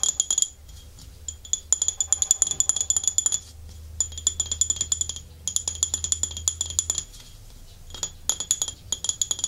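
Long fingernails scratch and tap the glossy underside and foot ring of a small, empty white glazed porcelain dish with a scalloped rim, held upside down in both hands. Bursts of rapid, bright, high-pitched clicks and scrapes come in several runs separated by short pauses, each tap dying away almost instantly over a faint low hum.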